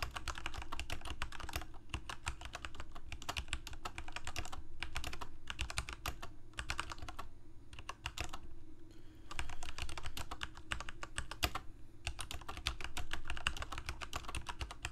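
Fingertips of both hands type on a Corsair K68 full-size mechanical keyboard with plastic keycaps, Cherry MX Red switches and a backlight, resting on a desk. Quick, dry clacks of keystrokes come in bursts separated by brief pauses, each stroke dying away almost at once over a steady low hum.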